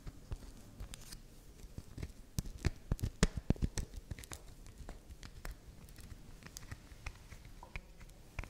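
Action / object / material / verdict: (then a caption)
scrape / bar of soap / soap / none. Long nails scratch and tap the side and face of a soft, solid, round pink swirl bar of soap held in the hand. The result is quiet, irregular scratchy clicks and crackles with brief sharp ticks, mostly low in tone.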